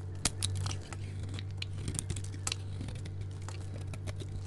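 A solid white bar of soap, held in a hand with long nails, is scraped and carved with a metal utility knife blade, shaving off curls. Short, crisp scraping and crunching strokes with bright edges come one after another over a steady low hum.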